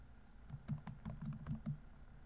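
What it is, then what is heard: Plastic laptop keyboard. Fingertips type steadily on a laptop keyboard with plastic keys, producing a short run of soft, muted keystrokes. Each tap is a dull, low clack that dies away almost at once, heard over a faint steady background hiss.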